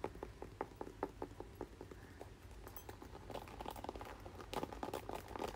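A red plastic paddle hairbrush is held up and turned while fingertips and nails tap and scratch its plastic back and bristle side. Quiet, short, dry plastic clicks come in a steady run over a low hum. About halfway through they thicken into denser, louder scratchy tapping with brief bright ticks.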